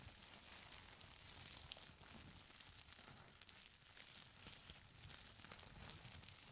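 Fingers grip and crumple the folded edge of a stack of thin purple tissue paper, then rub across the top sheet. The result is a steady, quiet stream of bright, dense crinkles with no pauses, plus a soft low rustle underneath.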